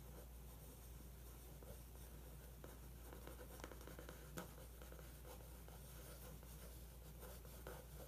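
A pencil tip traces the outline of a weightlifter photo on the thin glossy paper of an open magazine spread. A quiet, continuous soft scratching runs over a steady low hum, with small ticks scattered throughout and one sharper tick near the middle.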